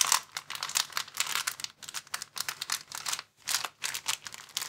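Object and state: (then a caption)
Plastic bag crinkling. A clear plastic bag rolled into a tube is squeezed and twisted in both hands, giving a dense run of bright, crackling crinkles in quick uneven bursts. There is a brief pause just past the three-second mark before the crinkling starts again, and the sound has almost no low end.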